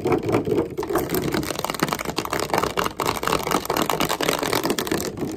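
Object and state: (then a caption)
Plastic water bottle. A clear plastic water bottle with a blue label, hollow and partly filled with water, is held in the hands and tapped and squeezed with fingertips and nails. The result is a fast, continuous stream of sharp clicks and crinkling taps over a hollow, mid-pitched plastic tone.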